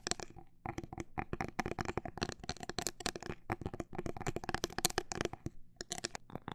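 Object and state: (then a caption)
Cork coaster tapped. A cork coaster is tapped in a quick, uneven run of short, dry knocks with brief pauses between bursts. Each tap dies away almost at once, giving a dull, muted tone around 730 Hz with some light, bright clicks on top.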